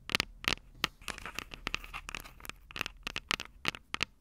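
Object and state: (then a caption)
Metal microphone capsules of a small recorder. Long purple nails scratch and scrape the small, hollow, silver metal microphone capsules of a Tascam DR-05 recorder. The result is a rapid, irregular series of sharp, bright scratchy clicks with a faint metallic tone near 2.7 kHz. Each click dies almost instantly, and there is little low end.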